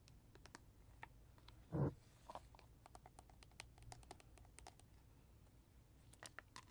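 A hollow, hard plastic lion toy about the size of a hand, with a red mane, yellow face and green button, sits on a carpet and is tapped and scratched with natural fingernails on its face and mane. Quiet, sharp clicks and ticks patter steadily over a soft low rumble, with one louder, duller knock early on.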